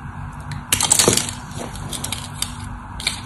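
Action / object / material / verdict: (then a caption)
scrape / bar soap block scraped with a blade / soap / none. A utility knife blade carves and shaves the top edge of a solid, dry cream bar of soap held upright, breaking crumbs off. A bright, crisp crunching scrape swells into a dense crackling burst early on, then eases into lighter, softer shaving with a few sharp ticks near the end.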